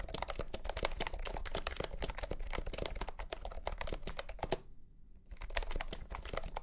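Fingertips type steadily on a compact pastel green plastic keyboard with round keycaps and a hollow body, resting on a felt mat. The keystrokes are fast, short, hollow clicks with a mid-pitched clack around 570 Hz and a low thump beneath. A brief pause near 5 seconds interrupts the typing before it resumes.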